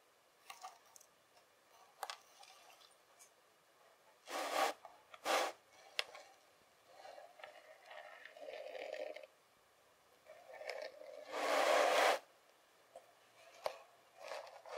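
Fingertips pinch a compacted mound of kinetic sand and break it apart into crumbly pieces. Quiet, soft, gritty crumbling and rubbing sounds are punctuated by a few louder, bright scraping bursts as chunks give way, with brief silent pauses between.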